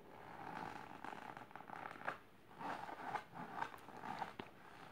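Long silver nails scratch quickly over the fabric of a large pink patterned fabric-covered storage box or ottoman. The sound is a dry, raspy rustle centered in the midrange, coming in uneven bursts with a few sharper scratches standing out.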